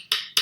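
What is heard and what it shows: Five copper pennies from a science kit are tapped together, giving two sharp, bright clicks with a short metallic ring. The hard, high-pitched sound shows the coins are hard objects.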